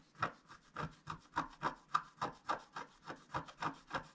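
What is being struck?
Coated scratch-art card scratched with a wooden stylus.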